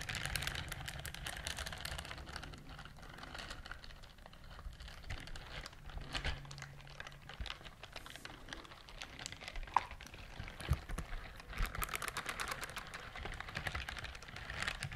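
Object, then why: Silicone scrubber glove with bristle nubs. Long nails scratch and tap across the bristle nubs on the palm of a pink silicone dishwashing glove worn on one hand, close to the microphones. The result is a dense, continuous run of quick, dry ticking and scratching with bright crackle and a low rumble underneath, in places like rapid typing.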